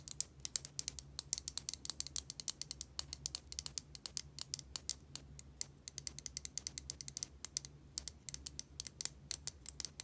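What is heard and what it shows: Long nails tap and scratch the body of a small yellow plastic Bic lighter with a metal top, hollow with fuel inside. A quiet, rapid stream of sharp, bright clicks and ticks runs throughout, each dying away instantly, over a faint low hum.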